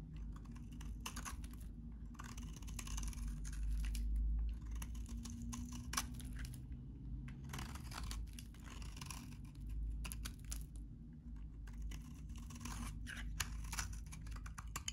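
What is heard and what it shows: A utility knife blade shaves and scrapes a solid, hand-sized, very dry, cream-colored vintage soap bar. Bursts of dry, crunchy, crackling scraping repeat in uneven strokes, with bright grainy texture over a steady low rumble.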